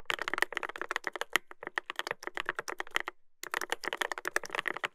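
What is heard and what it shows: A Dolphin 2021 mechanical keyboard with a brass plate and plastic keycaps is typed on continuously with fingertips. The result is a fast stream of sharp, dry clicks with almost no ring and a bright clack centered near 2 kHz, with a brief pause just past the three-second mark before the typing resumes.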